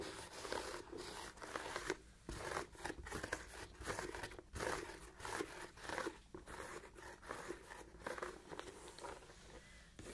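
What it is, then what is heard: Leather ankle boot being scratched. Long nails scratch a hollow, empty black leather Chelsea boot with an elastic side panel, moving over both the leather and the elastic. Dry, crackly rasping comes in short, irregular bursts with brief pauses between strokes. The sound is soft and sits mostly in the mids, with little low end and only a light bright edge.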